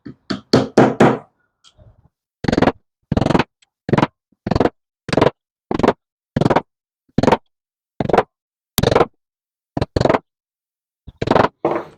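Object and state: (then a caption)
Wooden dowel fully seated in its hole. Wooden dowel sticks are glued into holes in a wooden plate stand base and tapped in, producing a steady series of short, hollow wooden knocks. The tapping continues until the sound changes as each dowel bottoms out at the end of its hole, showing it is fully seated.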